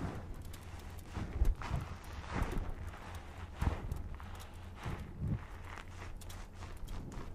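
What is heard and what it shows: A small, rectangular, green porous cellulose kitchen sponge, soft and dry-looking, is held close to the microphone, then squeezed and scratched with fingertips and ringed fingers. The result is soft, muffled, low crunching and rubbing with a few louder squeezes standing out.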